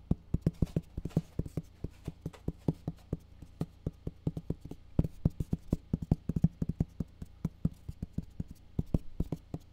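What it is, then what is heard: Cardboard box. Fingertips tap the top and side of a closed, medium-sized black printed Solid State Logic cardboard box. About 53 short, dull, low thuds land in quick, uneven runs, each dry and gone almost at once. The result is a soft, hollow patter with no bright edge or ring.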